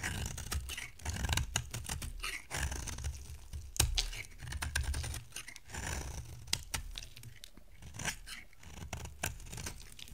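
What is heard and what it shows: A solid white bar of dry soap, held in the hand, is carved with a box-cutter blade in a dry shave. Dense, crisp scraping and shaving strokes come in quick irregular bursts. Each stroke gives bright, short crackles over a low, soft rumble.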